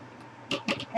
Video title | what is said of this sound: ~ Artisan Bread ~ & Shout Out! Big Family Homestead | when I tap it, it's nice and hollow